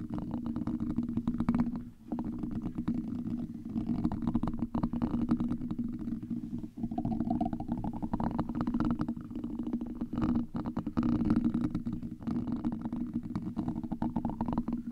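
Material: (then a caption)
Metal mesh. A hollow, black domed metal mesh microphone grille is scratched by two gold and copper metal tools. The result is a continuous, dense rasping and crackling texture centered in the low-mid range, with a steady hum near 230 Hz. Faint rising tones drift through at times, and there are brief dips at around 2 and 7 seconds.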